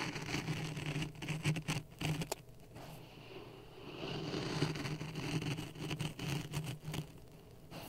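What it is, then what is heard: Dry sand in a plastic cup. Dry sand in a clear plastic cup resting on a red microphone is poked and stirred with a wooden stick. Gritty scraping and crackling rise and fall over a low, boomy rumble, broken by sharp bright clicks as the stick jabs into the sand. There is a quieter stretch of soft stirring in the middle before the pokes pick up again.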